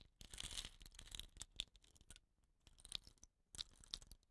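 Fingertips with short nails rub and tilt upright a hollow, dot-painted bamboo rain stick with a rattan end cap. Bright, dense scratching and crackling rustle comes in bursts, with sharp clicky accents around 3.5 kHz. It quiets to a faint hiss for a moment before the rustling resumes.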